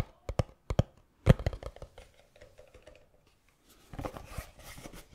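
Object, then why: Small cardboard box. Fingertips tap the sides of a small, hollow black cardboard gift box, producing a series of quick, dull, low thuds with almost no ring, first in pairs and then in a denser cluster. The taps fade to light patters, then give way to a softer, brushing rustle at the end.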